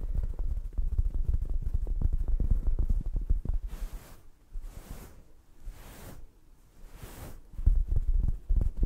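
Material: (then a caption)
Velvet fabric. Long acrylic nails scratch across the fabric of a soft, padded black velvet gaming-chair neck pillow held close to the mic. Dense, low, muffled scratching thumps are broken by several slower, breathy brushing sweeps in the middle. The rapid scratching then returns.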